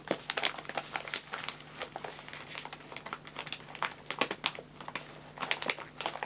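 A filled white paper bag of guinea pig food is tapped and rubbed with fingertips, then lifted and crinkled in the hand. Sharp, bright paper crinkles and crackles come in quick bursts over a soft, steady low hum.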